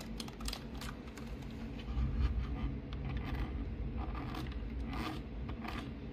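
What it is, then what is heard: Plastic mechanical keyboard. A pink backlit full-size mechanical keyboard with plastic keycaps is typed on and tapped with fingertips across the keys. Quick, irregular clacks and taps with bright edges ride over a steady low rumble, and the level stays fairly even throughout.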